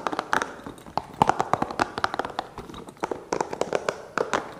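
A small, hollow, green spiky rubber massage ball is held near the mic and tapped and scratched with fingertips and nails. A fast, uneven string of short, dry, hollow taps centers around 860 Hz, with brief scratchy rasps between them. Each tap dies away almost instantly.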